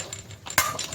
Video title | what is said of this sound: Trx450R Build Replacing Steering Stem Bearing and Installing New Team Alba Racing +2 Stem | when I'm tapping it it's still going in when it bottoms out inside there you'll hear the pitch of the hit change